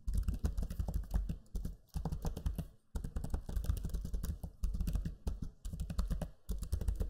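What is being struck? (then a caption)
Plastic laptop keyboard keys. Fingertips type on the backlit black Lenovo Legion 5 laptop keyboard with low-profile plastic keys, producing a steady run of soft, dense, low-toned clicks and thumps. Brief pauses near two, three, and five seconds break the stream before typing resumes.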